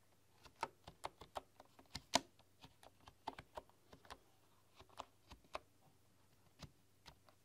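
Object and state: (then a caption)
Bamboo computer keyboard being typed on. Slow typing with fingertips and long nails on a full-size bamboo computer keyboard with wooden keys. Quiet, dry, clicky taps arrive one by one at an uneven pace, each with a bright edge and almost no ring. A faint low hum runs underneath throughout.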